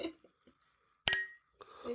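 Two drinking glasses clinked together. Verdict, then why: Not crystal. Two ordinary non-crystal drinking glasses are clinked together for a New Year toast, giving a single short, bright clink with a ring around 1.9 kHz that fades in about a sixth of a second. The toast sounds dull and unimpressive, almost like plastic rather than crystal. Faint sounds are heard before and after.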